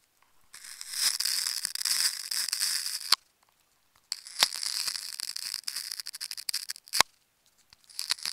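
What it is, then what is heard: Plastic tape ball being cut. A thin metal needle tool is drawn across and into a hand-sized, solid ball wound from many layers of dark green and black plastic tape held in the fingers, cutting and scratching through the tape layers. The result is bright, hissy slicing and peeling in three long bursts separated by short silences, with a few sharp clicks rather than clean taps.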